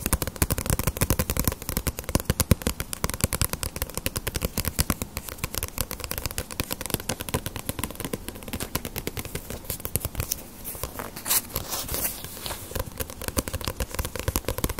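A small, solid One Piece paperback manga volume with paper pages and a glossy paper dust jacket is held upright in both hands while long nails and fingertips tap and scratch its cover. Rapid, dense streams of short, dry taps with a low, hollow thump run throughout. Brighter scratching passes come in around the later seconds.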